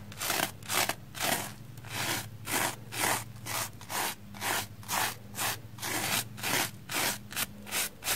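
A small black spoolie brush is scrubbed back and forth across a red porous plastic foam sponge block that is wet with soap lather and held in hand. The result is a steady rhythm of bright, airy scratching strokes, about two per second, over a faint low steady hum.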